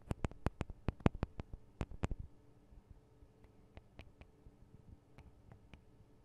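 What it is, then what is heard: Recorder microphone capsules tapped with fingernails. Long decorated acrylic nails tap on the two small hollow cylindrical microphone capsules of a handheld Tascam DR-40 recorder, with metal housings and guards on a plastic body, sometimes scratching lightly. A quick run of sharp, dry ticks with a dull low thump comes first, then sparser, softer taps over a faint low hum. Each tap dies away almost instantly.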